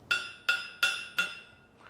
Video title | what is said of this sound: Lost Masterpieces or Clever Fakes? Art Mysteries Uncovered - Fake or Fortune Series 9 | that sounds Hollow but clearly judging by the X-ray it is not